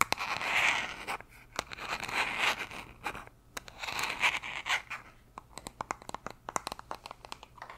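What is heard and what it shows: Long nails scratch and tap the white plastic cap and sides of a hollow blue plastic gummy vitamin bottle, likely filled with gummies. Bright, hissy scratching swells and fades through the first five seconds, then gives way to a run of quick, dry, sharp taps with almost no ring.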